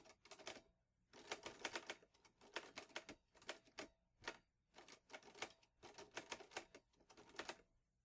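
Fingertips type steadily on the keys of a vintage teal metal Underwood Olivetti Lettera 22 portable typewriter with paper loaded. Quick bursts of crisp, bright key clacks come in rapid clusters separated by short pauses, each strike snapping off almost instantly with little ring.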